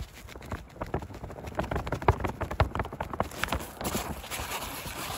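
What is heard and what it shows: A gloved hand rubs and scratches with its fingertips across the taut, light blue polyester fabric seat of a folding camping chair, stretched over a metal frame above a hollow space, outdoors by a hedge. The result is an irregular run of dry, scratchy brushing with short, hollow low thumps where the fingertips press into the stretched fabric.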